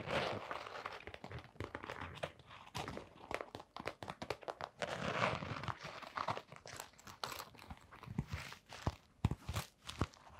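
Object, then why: Canvas sneaker with rubber sole. Long nails scratch the blue fabric upper and brown rubber sole of a canvas sneaker. Close, dry, crackly scratching comes in dense rapid bursts with soft low thuds underneath. The sound stops quickly with no ring, rising and falling in uneven waves throughout.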